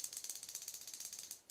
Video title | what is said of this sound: Jabber Jaw vs. Axis - What Do You Think About Chattering Crankbaits??? | a loud loud knock one knocker sound